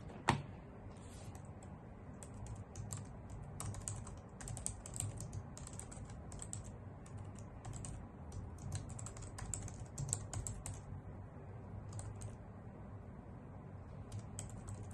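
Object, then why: Plastic computer keyboard. Long nails and fingertips type steadily on a white, full-size plastic computer keyboard with hollow key caps. The result is a continuous stream of quick, bright clicks and taps over a soft, low, steady background.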